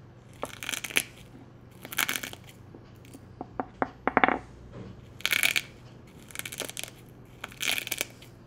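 Fingertips press and crush thin, brittle brown-and-white boiled-egg shell fragments against the inside of a small pale ceramic egg cup, held steady by the other hand, with a loose shell piece lying on a bamboo board. The result is bursts of bright, dry crackling and crunching in short clusters, with a few sharp, quick clicks in between and almost no ring.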